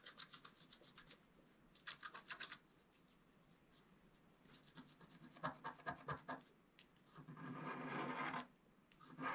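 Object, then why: Black-coated scratch art card and wooden stylus. A wooden stylus scratches strokes into the coating of a flat black-coated scratch art card, working from the center toward the right edge. Bursts of quick, dry, raspy scratching alternate with quieter pauses, ending in a longer, steadier scrape.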